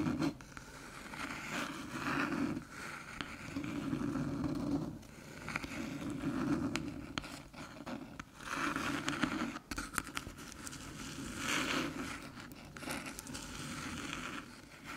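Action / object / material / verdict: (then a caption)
scrape / small aluminium USB hub / aluminium / none. Long silver nails tap and scratch the top panel of a small, flat, hollow silver aluminium USB hub resting on a dark table. The result is a steady, dry scraping texture that swells and fades in repeated waves, with a low hollow tone underneath and light clicking taps.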